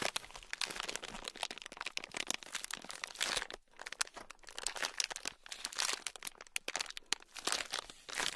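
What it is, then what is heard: Plastic bag full of small beads. A small, sealed, clear plastic bag packed full of tiny gold beads is squeezed and kneaded with fingertips. It makes a dense, bright crinkling and crunching of plastic and shifting beads, with rapid crackling clicks. The sound briefly drops out near the middle before continuing in irregular bursts.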